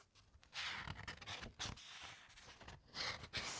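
Long white nails and fingertips lightly rub and scratch along thick, uncoated encyclopaedia pages as the pages are turned, heard close up. Soft, bright, papery swishes and scratchy strokes rise and fall in overlapping bursts, with little low end.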